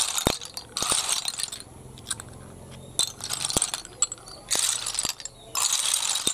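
Both hands scoop and push a heap of small, hollow, empty snail shells on concrete, making them rattle against each other and the floor. Bright, crisp clattering comes in several dense bursts, separated by quieter stretches with scattered sharp clicks and very little low end.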